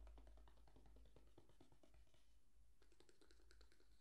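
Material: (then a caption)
Cardboard. Fingertips and nails tap and scratch the surface of a small, closed, hollow white cardboard gift box held in both hands over a towel-covered table. Quick, irregular soft taps with short scratchy strokes run throughout, pausing briefly before resuming with brighter clicks. A steady low hum sits underneath at a quiet overall level.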